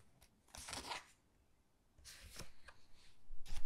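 Fingertips with long dark nails squeeze and flip the glossy photo pages of a large hardcover Titanic book lying open. Bursts of crisp, bright paper rustling and crinkling come with soft low thumps as each page turns over. Quiet pauses fall between the turns.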